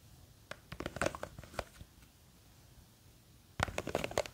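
Long green fake nails scratch and tap the sides of a small clear plastic jar with a white lid, full of blue gel beads. A cluster of sharp, dry clicks and scratches fills the first two seconds, then a near-silent pause follows, and a second burst of quick taps closes the clip.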